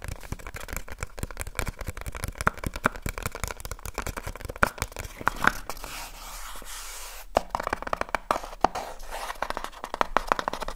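Fingertips fast-tap on the top and sides of a small, hollow cardboard light bulb box held close to the recorder. The result is a dense stream of crisp, dry clicks with a papery, midrange tone. Around the middle the tapping briefly gives way to a soft scratchy rustle, then the quick tapping resumes.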